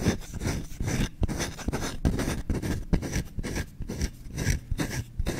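Short-nailed fingertips scratch fast across the grain of a small, solid wooden kitchen spoon's bowl, held up close to the mic. The result is a rapid, uneven run of dry, raspy scrapes with a heavy low-end rumble. Each stroke stops short with no ring.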